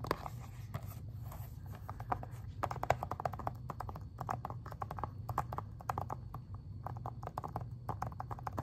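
Long-ish fingernails tap rapidly on the front cover of an Xbox 360 plastic game case, making a dense run of short, dry clicks with a hollow, mid-pitched tone around 700 Hz. The taps come in quick irregular bursts over a steady low rumble, and each stops almost instantly with no ring.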